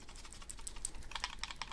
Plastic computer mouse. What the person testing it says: there's a little bit there, but not a great deal at all. It's actually pretty decent.